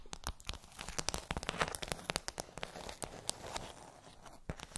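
Long acrylic nails tap and scratch across a pink plastic tray covered in rows of raised, hollow hemispherical bumps. The result is a quick, irregular run of sharp, bright clicks and crinkly scratching that stops dead after each strike, with a low hollow knock under some of the taps.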